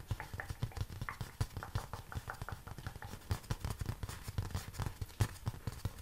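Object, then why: Honeycomb cardboard. Honeycomb cardboard is tapped in quick, uneven runs for about six seconds. The taps are soft, dull thuds centred low around 100 Hz, with almost no ring. A few land noticeably harder than the rest.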